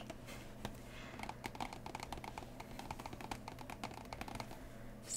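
Long nails tap and scratch quickly along the edges and lid of a large, hollow, closed cardboard Root board game box held by its sides, then across its printed top. The result is a rapid, irregular run of short, dry, clicky taps with bright high edges, over a steady low hum.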